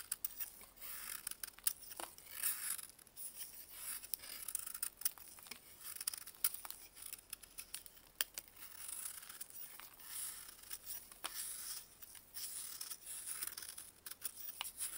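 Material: Baking soda.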